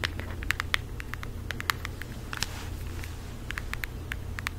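Long acrylic nails tap quickly and irregularly on a flat floral cardboard eyeshadow palette held close to the face and microphone. The taps land as short, dry clicks centred around 2 kHz with a bright edge, and none of them ring on. A steady low hum runs underneath the whole clip.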